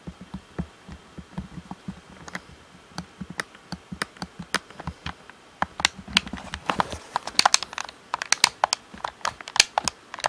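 A black plastic Xbox controller, hand-sized and hollow, is held in both hands and tapped on its back and grips with short-nailed fingertips. Quick, dry, bright clicks come in an irregular stream. They grow denser and louder in the second half, with faint crinkly rustling between them.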